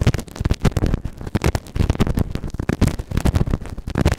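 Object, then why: Silicone ear-shaped microphone scraped with a plastic spatula. A white plastic spatula tool held in the fingers scrapes and scratches inside the ear canal of a grey, solid, moulded silicone ear-shaped binaural microphone (the right ear) on a round base. It makes a dense run of close, muffled scraping and crackling bursts, heavy in low rumble with short, dry attacks that stop almost at once.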